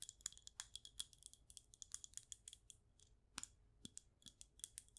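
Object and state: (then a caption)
Glass candle jar. Long acrylic nails tap a clear glass jar candle filled with white wax and bearing a label. The result is a quick, irregular run of sharp, bright clicks and ticks, mostly high-pitched, with almost no ring after each tap.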